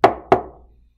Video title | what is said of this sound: Fossil Dig Video | it looks like just a piece of wood but when i tap it you can tell that it's solid rock